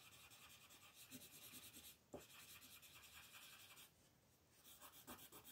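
A yellow wooden colored pencil scratches and rubs across a flat sheet of white paper printed with a monkey, lying on a table, while coloring in the monkey's face as the other hand rests on the sheet. The sound is a soft, steady, bright scratchy rasp of strokes, with a brief pause just before 2 seconds, a sharper tap-like accent right after, and a quieter stretch around 4 seconds before the rubbing picks up again.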